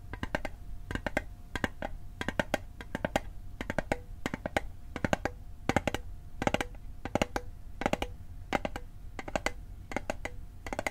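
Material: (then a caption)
Metal. A small hollow metal Altoids mint tin, held on its edge, is tapped with fingertips and nails in quick, irregular clusters. Each tap is a short, bright click with a brief metallic ping around 800 Hz that dies away almost at once, over a faint steady low rumble.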